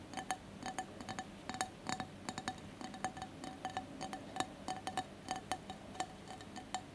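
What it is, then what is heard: Mosaic glass candle holder. Fingertips and nails of both hands tap and scratch the textured sides of a colored mosaic glass candle holder with a lit candle inside. A rapid, uneven series of light glassy clicks gives a short, chime-like ring around 750 Hz, over a soft scratching hiss.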